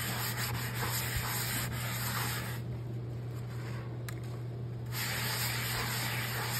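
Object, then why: Cast iron skillet. A hand scrubs the inside of a large, round, empty and soapy black cast iron skillet in circles with a yellow scrubbing sponge. The result is a steady, gritty scrubbing hiss over a constant low hum. The bright rasp softens for a couple of seconds midway before returning.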